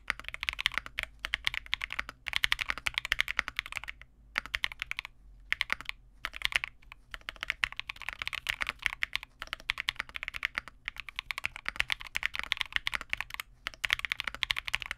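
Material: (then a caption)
Plastic. Continuous two-handed fingertip typing on a small 65% Vega65 mechanical keyboard with relubed Cobalt switches, white plastic keycaps and a dark case. Rapid, bright, clicky keystrokes with very short decay are centered around 2 kHz and carry almost no low end. The typing pauses briefly around 4 to 6 seconds and again near 13.5 seconds.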